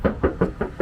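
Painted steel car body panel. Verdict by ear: Original paint.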